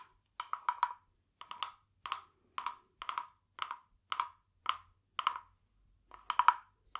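A small, hollow, carved wooden frog guiro, painted glossy green with a ridged back, is held in one hand and rubbed and tapped along its ridges with a green wooden stick. It makes short bursts of dry, woody clicks and rasps, pitched around 1 kHz with bright edges. The bursts come in a steady, uneven rhythm, and each stops almost at once with no ring.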